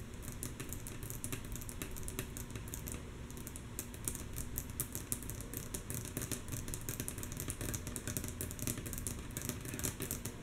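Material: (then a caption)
Wood. Long natural nails of both hands tap rhythmically on a flat, solid, light wooden tabletop. The quick, mostly soft taps make bright, dry clicks that die away almost at once, running steadily over a constant low rumble and a faint steady hum.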